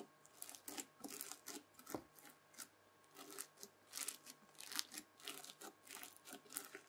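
A white plastic fork drags again and again through the beaded surface of spread-out red floam slime. It makes quiet, bright, crunchy crackles that come in about twenty short, separate bursts with almost no ring after each.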